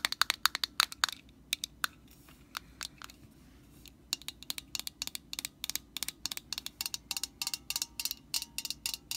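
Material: Plastic.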